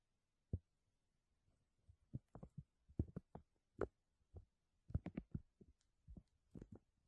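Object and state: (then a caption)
Thin plastic bag being scratched. Fingertips and nails rub and scratch a thin, clear plastic bag draped over a mesh dome while the other hand holds its edge. The result is a quiet, irregular series of short, soft crinkles and scratches, mostly low and muffled with brief brighter flicks, separated by near silence.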